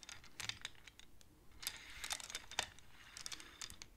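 Long-nailed fingers rapidly slide the painted wooden beads of a wooden abacus so they click against each other. The result is a quiet, irregular stream of short, dry, bright clicks with almost no ring, a few louder taps standing out, and little low end.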